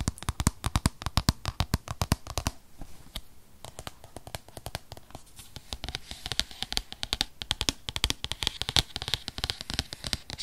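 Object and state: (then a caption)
Cardboard tablet box. Long fingernails tap and scratch an unwrapped, rigid white paperboard box for a 2020 8th-generation iPad, a tablet-sized box held in the hand. Rapid, sharp, dry clicks with a bright, crisp edge fill the clip. Around the 2.5 to 5 second mark there is a quieter, scratchier stretch before the fast tapping picks up again.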